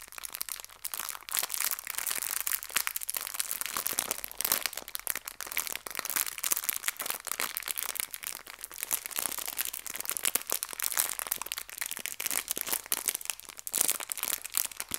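A small clear plastic bag filled with hair ties is squeezed and crinkled by fingertips with long nails. Dense, bright crackling and crinkling runs steadily throughout, with rapid overlapping crunches and almost no low end.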